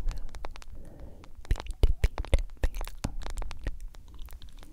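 A smartphone with a glass screen in a solid yellow plastic case is held up and tapped and scratched with long nails. Quick, sharp clicks and crackly scratches come in a rapid, uneven string and die away almost at once, louder through the middle and softer at the end.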